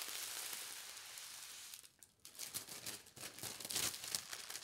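A thin polka dot tissue paper sheet is folded in half and smoothed flat with the fingertips and palms. A steady, bright papery hiss of hands sliding over the sheet fills the first half, then drops to near silence before irregular crisp crinkles and rustles of the thin paper follow.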